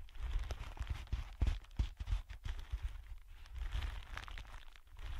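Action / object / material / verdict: scrape / thin clear plastic film sheet / plastic / none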